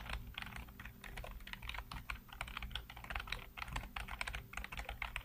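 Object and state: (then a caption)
Plastic computer keyboard being typed on. Fingertips type rapidly on a black plastic backlit computer keyboard, producing a dense run of short, bright clicky keystrokes. A steady low hum sits underneath the clicks.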